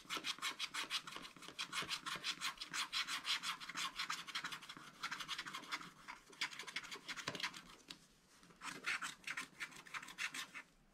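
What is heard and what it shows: A wooden stylus scratches the black coating off along the top edge of a wax-coated scratch-art paper page in a spiral-bound scratch-art book lying flat. Rapid, continuous back-and-forth strokes make a dry, bright, raspy scratching with almost no low end. The scratching dips briefly near the eight-second mark before resuming.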